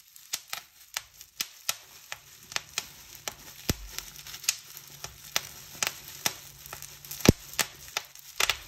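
Fingertips and long nails pinch and pop the air-filled cells along a folded edge of a clear plastic bubble wrap sheet. A steady series of sharp, bright, very short pops is heard, each dying away instantly, over a faint crinkling rustle of the plastic between them.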